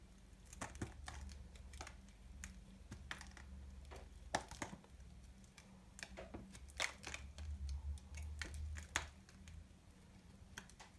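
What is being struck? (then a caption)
Bar soap cut and scraped with a small knife. A small knife repeatedly cuts and scrapes a solid, dry, multicolored soap ball held in the hand, with flakes falling away. Sharp, dry, crunchy scrapes and crisp cutting clicks come in quick irregular bursts, bright and short-lived, over a steady low hum.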